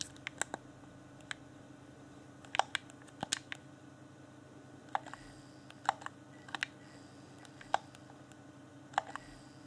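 Fingertips tap and click the buttons of a hand-sized, hollow, transparent plastic Xbox One Afterglow game controller. About nineteen short, dry, bright clicks and taps come at irregular intervals, some in quick pairs, each dying out almost instantly. A faint steady low hum sits underneath throughout.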